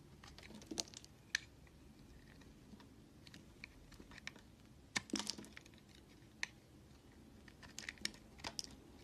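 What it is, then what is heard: Bar soap being shaved with a knife. A red utility knife shaves flakes off the edge of a solid white oval bar of soap. Soft, crisp scraping crackles and sharp clicks come in scattered bursts over a quiet hiss, bright and dry with almost no ring.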